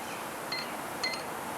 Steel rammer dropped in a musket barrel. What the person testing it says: you hear that ping sound that means that it's empty if you heard a dull thud sound you know that it was loaded